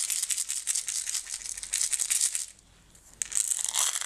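A closed clear plastic jar full of green and blue decorative stones is shaken and tilted between hands with long red nails on its sides. The stones give a dense, bright, crisp rattling that swells and fades in quick surges. It goes nearly silent for under a second, then starts again just as strongly.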